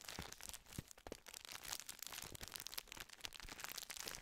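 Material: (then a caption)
Plastic. A gold plastic wrapper full of round sandwich biscuits is crinkled and rubbed with the fingertips close to the microphone. It gives a steady stream of bright, crackly crinkles and sharp little snaps with almost no low end, and each sound dies away instantly.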